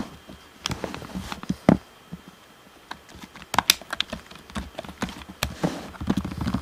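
Fingertips tap the face, top edge and bumpers of a hollow, black plastic Xbox One controller. The result is an irregular series of short, dry, clicky taps with a light hollow knock, separated by brief quiet gaps.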